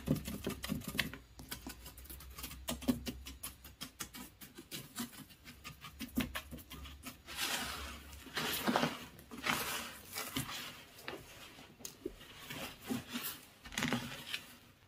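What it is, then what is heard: Beach gravel with pebbles, scratched. Fingertips scratch and rake through coarse beach gravel with shell bits and larger pebbles, producing a dense, crackly patter of quick, sharp clicks and grainy ticks. Louder, broader rustling bursts swell in the middle as the gravel is raked more heavily, and a faint low hum sits underneath through the first half.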